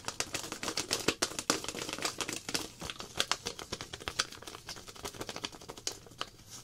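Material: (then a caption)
Plastic. A small clear plastic zip-lock pouch with a paper glow-powder label, holding a little powder, is held in both hands and crinkled and scratched with long black-painted nails. A dense run of bright, crackly crinkles and sharp scratchy clicks carries on throughout, each dying away almost instantly, with very little low end.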